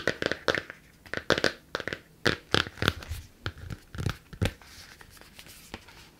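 Fingertips and long nails tap and scratch the front of a closed hardcover book with a glossy, laminated cardboard cover. About 18 sharp, crisp taps with a bright, crackly edge each die away almost instantly. They give way to softer, quieter scratching toward the end.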